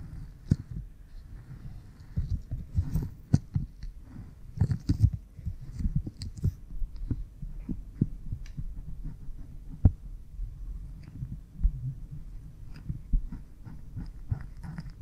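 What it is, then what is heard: Silicone ear microphone being rubbed. Fingernails and fingertips rub behind the left ear of an oiled, pink silicone binaural ear microphone that is solid and soft. The rubbing comes through as a deep, muffled rumble of close, soft thumps and slick scrapes. A few sharper clicks and faint bright crackles stand out above the low throbbing.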